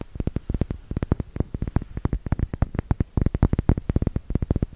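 A small round glass bottle with a metal cap, filled with red liquid, is tapped with the fingertips and nails in a rapid, uneven series of about 33 taps. Each tap is a short, dull, low thud with a faint bright click on top and no ring.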